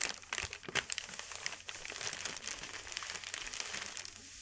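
A large, thin white sheet of wrapping paper lies flat on a velvet cloth while both hands rub and press it with the fingertips. The result is a steady stream of dry, bright crinkling and crackling with sharp little snaps scattered throughout. There is almost no low end, and each crackle stops instantly with no ring.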